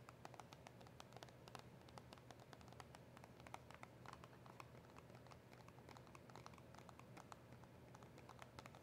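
Long acrylic nails tap rapidly across the back and sides of a small, hollow cardboard box of press-on nails. The result is a steady stream of quiet, dry, bright clicks that die away almost at once, over a soft low hum.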